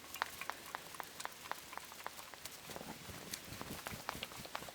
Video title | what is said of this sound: 71. Tinned Pasta Face-Off: Heinz Macaroni Cheese VS Chef Boyardee Mac & Cheese | there's a little bit a little bit of squishing but no sloshing